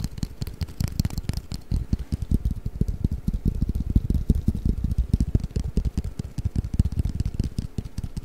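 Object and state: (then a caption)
Hollow cardboard game box. A long, flat, hollow cardboard Mikado pick-up sticks box is held flat above the microphone and tapped rapidly with fingertips and nails. The result is a steady flurry of short, dull, hollow low thumps with very little ring, with faint bright clicks from the nails mostly in the first couple of seconds.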